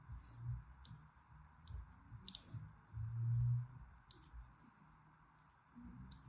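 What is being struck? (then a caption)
Solid bar of soap scratched with a needle tool. A solid lilac bar of soap, held in the hand, is scored in a crosshatch pattern with a thin needle tool. Short, bright scratching clicks sound over a steady low rumble, with a louder low hum swelling briefly in the middle.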